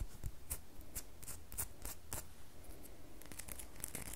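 Long fingernails scratch a small solid red bar of soap, scraping off shavings that fall onto the table. A quiet series of short, dry, bright scratches repeats over a steady low hum.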